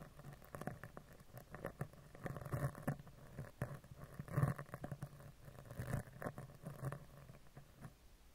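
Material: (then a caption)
Steel. A dark plastic spoolie brush is brushed and scratched along the right side of a round steel mesh microphone grille. It makes a soft, low, muffled patter of quick scratchy strokes, with some louder rubs between quieter stretches.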